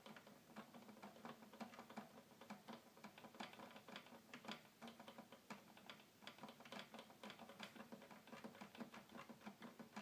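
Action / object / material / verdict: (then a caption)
tap / plastic toy keyboard / plastic / none. Fingers rapidly drum on the plastic keys of a hollow red plastic toy keyboard, producing a steady stream of fast, quiet clicks. The taps are short and dry, with a hollow resonance around 230 Hz under brighter clicky edges.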